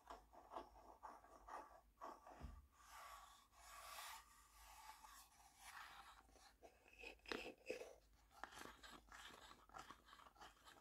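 A small, hollow, printed wooden tea box, kept closed, is tapped with fingertips and nails, including along its top edge. Quiet, dry knocks and sharp nail clicks mix with soft, scratchy, rustling passages. Each tap dies away quickly with little ring.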